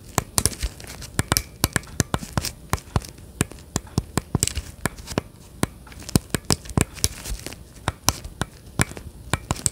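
Gloved fingertips tap and scratch the surface of a hollow plastic Nintendo Switch Joy-Con grip, with the controllers in it, held steadily upright behind the microphone. Around forty sharp, dry, clicky taps ring out, each ending almost instantly with a bright edge and a low thud. Soft crinkly scratching fills the gaps between them.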